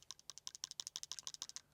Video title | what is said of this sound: DJI Osmo Pocket 4P oder Insta360 Luna Ultra? Nach Wochen kenne ich die Antwort! | if you shake it and listen closely, you can hear something rattling